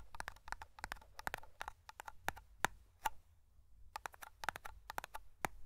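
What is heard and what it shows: Fingertips and nails tap and scratch the lid and sides of a small round black metal tin of matte hair cream held close to the microphone. Quick, dry, bright clicks come in uneven bursts, with a short quiet gap midway, and each tap dies away almost instantly with no ring.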